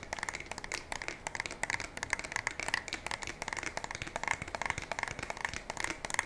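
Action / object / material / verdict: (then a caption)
tap / polymer and metal pump shotgun / polymer / none. A black polymer and metal pump shotgun is held diagonally by the barrel while long nails tap and scratch along its polymer parts. Quick, dry, clicky taps come in a rapid, uneven stream, with a bright, crisp scratching texture centered near 1.9 kHz and very little low end.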